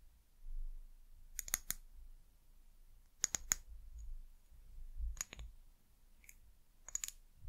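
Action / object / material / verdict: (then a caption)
tap / small glass bottle tapped with fingernails / glass / none. Long nails tap and scratch a small amber glass bottle with a white plastic cap and paper label, held in the hand. Sharp, bright clicks come in five quick clusters, each dying away almost instantly, over a faint low rumble in the quiet gaps.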